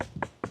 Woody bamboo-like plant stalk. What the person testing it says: Sounds like I'm knocking on a door. Stuff is, it gets pretty hard, pretty solid.